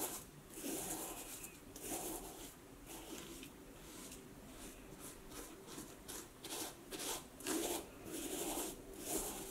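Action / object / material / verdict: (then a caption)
scrape / snakeskin leather boot / snakeskin leather / none. A knit cloth is rubbed over the scaly toe and vamp of an empty vintage snakeskin leather cowboy boot resting on a wooden table while a hand holds the shaft. Soft, raspy rubbing strokes repeat about once a second at an uneven pace, each stroke a bright, hissy swish over a faint low rustle.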